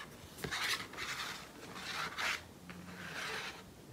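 A small, thin, flat glossy paper photograph of trees, held in both hands, is scratched and rubbed with medium-length painted fingernails. This makes bright, dry rasping strokes that rise and fade in several swells against a faint hiss.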